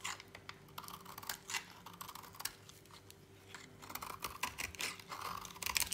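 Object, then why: Soap bar shaved with a knife blade. A utility knife blade shaves thin flakes off the edge of a solid, dry lilac soap bar held in a hand. It makes a run of quick, dry, crackly scrapes and crunches with a bright, papery texture, over a faint steady low hum.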